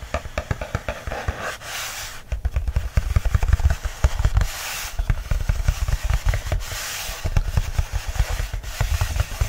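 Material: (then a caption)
Paper. Fingertips and short nails rub and scratch the flat black inner page of an open paperback book, a solid paper stack lying on a fleece blanket. Rapid, dull, low thumps from the fingers pressing into the pages run throughout, broken by stretches of bright, papery scratching hiss.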